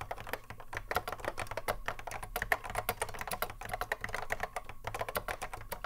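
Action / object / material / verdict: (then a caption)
tap / plastic mechanical keyboard with Alps switches / plastic / none. A cream Apple M0110A keyboard with a hollow plastic case and Alps SKCC mechanical switches sits on a wooden desk while the fingertips of both hands touch-type continuously across its keys. Rapid, crisp plastic clacks with very short ring pour out in an uneven stream, centred in the upper midrange, over a faint steady low hum.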